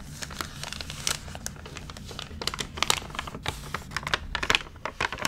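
Fingertips rub the wrinkled pages of an open, crinkled, water-damaged paper magazine, then the hands turn a page. Dense, bright crinkling and crackling fill the clip, with many sharp, short snaps over a faint low rumble and no ring after each one.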